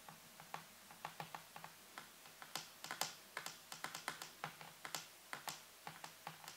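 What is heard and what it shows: Fingertips and nails press and tap the keys of a full-size black plastic computer keyboard with a white base and hollow housing. About 25 quick, crisp clicks and taps come in an uneven typing rhythm. Each is bright and dies away quickly over a faint low hum.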